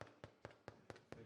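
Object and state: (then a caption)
Hollow-sounding sourdough loaf, baked through. A freshly baked sourdough loaf, just out of the oven, is tapped seven times in a steady rhythm, each tap giving a short, dry, hollow knock with almost no ring. The hollow sound shows the bread is baked all the way through.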